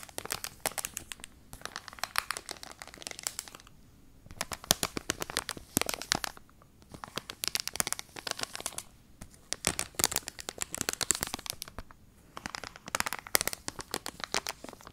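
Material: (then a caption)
Plastic, cardboard. A pink card-backed hair clip package with a clear plastic front is scratched and tapped with long nails. Bright, dense crinkling and crackling comes in bursts, separated by brief quiet pauses.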